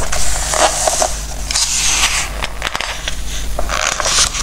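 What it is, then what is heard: Glossy paper book pages. Fingertips rub across and turn the glossy pages of a Christmas book filled with text and photos. Soft, bright paper swishes and crinkles come in a few broad bursts over a steady low hum, with no clear gaps between strokes.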